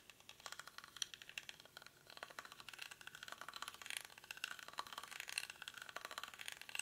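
Fingernails scratch the weave of a small, hollow woven rattan/reed basket held in both hands. The result is a quiet, continuous run of quick, dry crackling scrapes that rise and fall in bursts. The sound is thin and bright, with no low end and almost no ring after each stroke.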